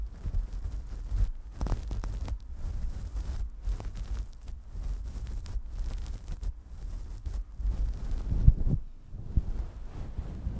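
Long nails scratch downward through a synthetic faux-fur windscreen on a desktop microphone, then both hands rub the top of the fluffy cover. The result is a deep, muffled rumbling rustle, almost entirely low-pitched, broken by short crackly scratching bursts that flare slightly brighter.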